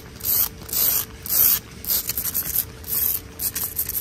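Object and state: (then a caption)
Wet exposed-aggregate concrete, solid. Fingernails scratch and rub across solid, wet exposed-aggregate concrete ground in a series of bright, hissy scraping strokes. The strokes come in a loose, repeating rhythm, each dying away quickly over a faint steady low background.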